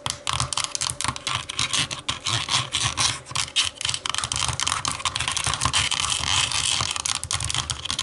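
Long nails tap and scratch the textured back of a hollow black plastic TV remote lying face-down. The result is a steady run of quick, dry, bright plastic clicks and scrapes with almost no ring, set over a faint low rumble.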